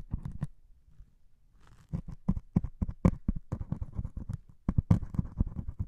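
A white melamine foam sponge with a grey scouring pad top, held in one hand, is poked and scratched with a metal needle. A quick series of dull, low, muffled taps and short scratches, each dying out at once, with a brief quiet stretch near the start before the poking picks up again.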